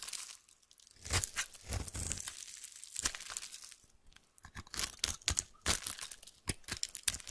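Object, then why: Soap bar cut with a metal knife. A metal knife slices a solid orange bar of soap held in the hand into shavings and strips. Crisp, dry scraping and crunchy cutting strokes come in irregular bursts, with quiet pauses between them and a bright, high hiss.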